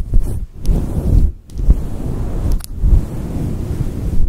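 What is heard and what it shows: Fingers with long nails rub and scratch a fluffy synthetic faux fur microphone windscreen cupped in both hands. The result is a deep, muffled rumbling rustle with almost all its energy in the low bass. It swells in bursts with brief quieter dips between them.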